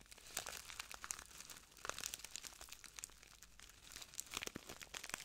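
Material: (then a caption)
Plastic. A small clear plastic bag full of translucent granules is crinkled and squeezed by the fingertips of both hands. Soft, bright crackling and crinkling come in irregular bursts, with sharp high ticks over a faint hiss and almost no low end.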